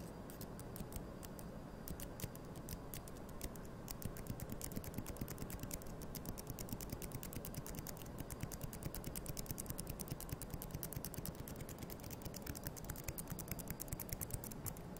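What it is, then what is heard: Wooden toothpicks. Thin, solid wooden toothpicks held between the fingers are tapped, flicked and scraped against each other close to the microphone. The result is a steady, irregular stream of quick, dry, bright clicks and ticks over a low, muffled background rumble.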